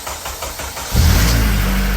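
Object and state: Nothing is struck.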